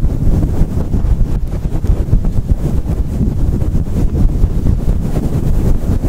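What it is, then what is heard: Faux fur microphone windscreen being scratched. Fingertips of both hands scrunch, scratch and rub a fluffy synthetic faux fur windscreen on a microphone. The result is a fast, continuous, muffled rumble and crackle, heavy in the low end with almost nothing bright, rising and falling steadily for the whole clip.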